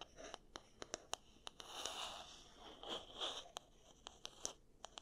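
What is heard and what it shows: Fingertips and nails run across and flick the wooden bristle pins of an oval wooden paddle hair brush held up in the hands over cork coasters. Sharp, bright clicks and ticks are scattered throughout, with two longer scratchy rasps swelling in the middle. The sound is quiet, dry and high-pitched, with almost no low end and each flick stopping instantly.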